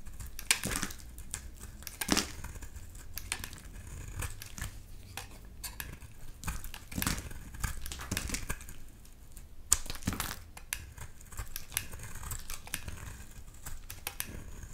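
A solid lilac bar soap held in the hand is shaved with a utility knife blade, peeling off curls. Repeated dry, crinkly scraping strokes come through as short, bright bursts over a soft low rumble, with a few sharper louder cuts standing out.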